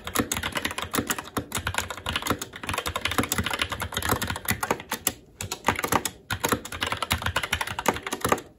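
Fingertips of both hands type continuously on a SteelSeries Apex 7 TKL mechanical keyboard with red linear switches, plastic keycaps and a metal top plate. The result is a rapid, steady stream of sharp, short plastic clicks and clacks with bright key-strike ticks and a few brief pauses.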